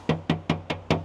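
Five quick knocks on the right rear quarter panel of a used 2019 Toyota Camry 2.5 Hybrid Premium, checking the panel's thickness by sound. Each knock gives a short, hollow, thin tap with a low pitch and a brief ring rather than a thick thud, suggesting original thin steel with no body filler or repair.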